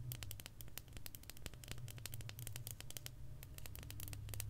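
A solid dark chocolate bar with a segmented square grid is held upright in both hands and tapped and scratched with long, almond-shaped acrylic nails, while a branded box sits untouched on the table. Quick, irregular, bright clicks and short scratchy strokes come in rapid succession over a steady low hum.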